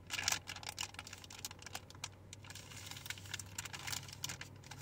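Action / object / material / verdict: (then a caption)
tap / soft plastic wet wipes pouch with plastic lid / plastic / none. A full, soft plastic pouch of baby wet wipes with a white plastic flip lid is held in both hands and tapped and crinkled with long painted fingernails. Rapid, bright nail clicks and crisp plastic crinkling patter unevenly, each tap dying away almost instantly, over a faint steady low hum.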